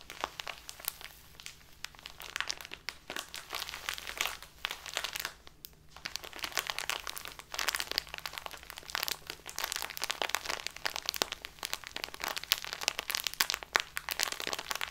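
A full plastic bag of dark loose tea lying on a tablecloth is pressed and kneaded with fingertips and long nails. Dense, bright crinkling and crunching comes in rapid overlapping bursts with brief quieter pauses, and there is no talking.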